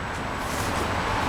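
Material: Nothing is struck.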